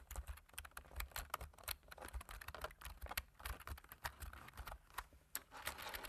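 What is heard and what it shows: Two hands type with their fingertips on a black plastic computer keyboard, making a quick, uneven stream of soft clicking key taps. Each tap is short and dry, with a low thump under a brighter click, and the overall level stays quiet.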